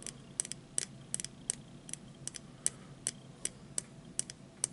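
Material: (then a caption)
Plastic, metal. A small hollow plastic disposable lighter with a red base and metal hood is held upright and tapped repeatedly with fingertips and short nails. About 17 quiet, sharp, bright clicks are heard at an uneven pace, each dying away almost instantly over a faint background hiss.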